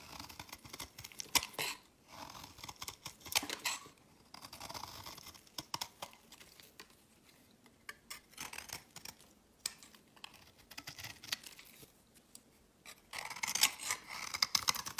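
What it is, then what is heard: Bar soap being shaved. A solid beige rectangular bar of soap, held in the hand, is shaved over and over with a utility-knife blade, producing crumbly shavings. The sound is dry, crisp, bright scraping and crackling in short bursts separated by quiet gaps, with almost no low end. The strokes grow louder and denser toward the end.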